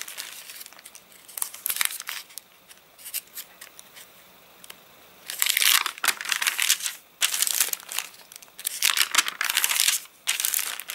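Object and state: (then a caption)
Rain-dried paper catalogue, crinkly pages. Fingertips rub the rain-warped pages of an open, rain-dried paper catalogue flat, then pinch and crinkle the page edges. Soft, sparse crackles in the first half give way to louder, dense bursts of bright, dry crinkling from about five seconds on, separated by brief pauses.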